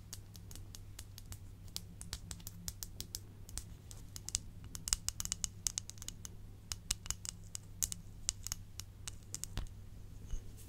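A small, hollow, empty glazed white ceramic bowl or dish is held in one hand and tapped and scratched with long acrylic nails. Many quick, dry, bright clicks and light scratches land in an irregular rhythm, each dying away almost at once, over a steady low hum.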